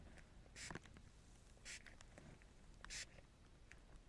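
Fingertips rub and handle a sheet of thin, air-filled, large-bubble clear plastic bubble wrap held flat over a camera lens. The result is a quiet, soft crinkle of scattered ticks and three louder, brighter crackling bursts.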